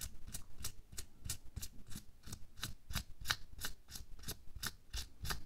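Bare fingertips scratch and rub over a thin pink latex or nitrile glove worn on a hand lying flat. The result is a steady series of quick, dry, bright scratching strokes with a soft low rumble underneath, each stroke dying away almost at once.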